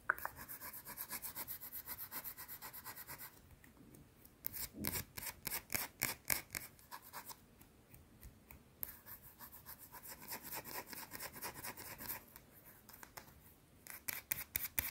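Long blue nails quickly scratch and tap a small round solid white soap bar. Rapid, bright, dry scratching strokes come in bursts, broken by quieter pauses. Sharper, louder taps stand out in the middle and near the end.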